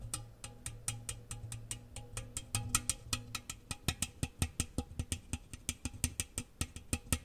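A large, round, hollow, empty metal cookie tin, open side facing out, is tapped rapidly with fingernails and fingertips. Each tap gives a sharp, bright click over a low, hollow thump that dies away almost at once. The taps run in a steady, quickening stream and grow more distinct toward the end.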